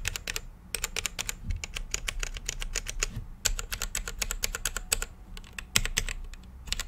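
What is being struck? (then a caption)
Mechanical keyboard with plastic keycaps. Fingertips of both hands type on a full-size mechanical keyboard with plastic keycaps on a translucent RGB-lit case. Rapid, crisp keystrokes give sharp bright clicks over a low thud, in fast bursts separated by brief pauses, and each stroke dies away almost instantly.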